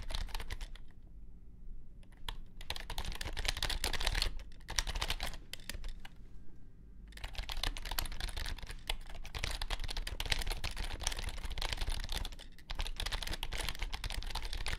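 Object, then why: Compact plastic keyboard. Fingertips type on a compact white plastic keyboard with low-profile keys resting on a grey mat. Bursts of rapid, bright clicky keystrokes with a soft low thump underneath are broken by short pauses near 1, 4.5, 6.5 and 12.5 seconds. Each keystroke stops almost instantly.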